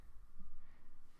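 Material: Nothing is struck.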